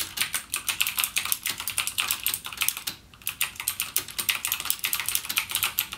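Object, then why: Plastic mechanical keyboard. Fingertips type continuously on a backlit mechanical gaming keyboard with plastic keycaps and clicky Cherry MX Blue switches. The result is a rapid stream of sharp, bright clicks with almost no low end and very short decay, with a brief pause about halfway through.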